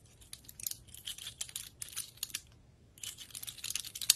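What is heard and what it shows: Long red acrylic nails scratch and tap along the woody scales of a large, dry brown pine cone held in the hand. The result is bursts of crisp, bright, dry scratching clicks with almost no low end and no ring, broken by a brief quiet pause near the middle.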